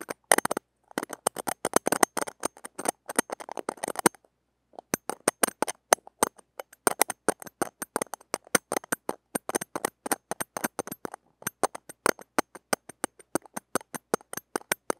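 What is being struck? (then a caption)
Steel wire-mesh grille of a small microphone. Metal tweezer tips scratch across the uncovered, small, hollow steel wire-mesh grille of a mini microphone, producing a rapid series of dry, clicking scrapes. The sharp ticks are close and bright, with almost no ring, and come in dense bursts broken by a short pause near four seconds.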